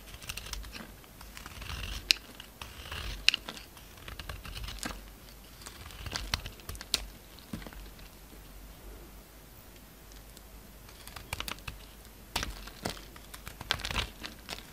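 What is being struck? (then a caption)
Bar of soap. A solid oval pink soap bar with a red coating, held in the palm, is shaved with a utility-knife blade. Quiet, bright, crisp scraping and shaving clicks come at an irregular pace, with a few sharper snaps standing out and a lull in the middle.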